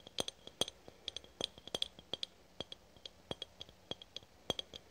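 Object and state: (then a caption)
Aluminium spray can. A red aluminum spray can, held horizontally, is tapped and clicked with long nails in 26 quick, dry hits. The sharp clicks have a bright, high metallic ping around 3.3 kHz that dies away almost at once, and there is very little low end.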